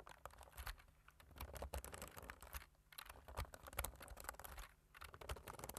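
Two hands tap the keys of a black plastic computer keyboard with their fingertips, making a quick, uneven patter of soft clicks. The taps come in dense runs with short pauses, each one brief with a dull low thump and a light bright tick.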